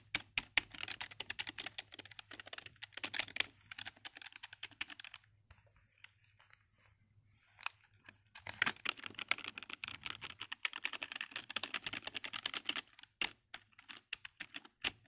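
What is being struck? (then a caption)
Plastic computer keyboard. Fingertips type rapidly on the hollow keys of a black full-size plastic computer keyboard next to a foam-covered microphone. The bright, clicky keystrokes come in quick dense bursts with very short decay, pause into near silence around the middle, then resume in fast runs with a few sharper louder clacks near the end.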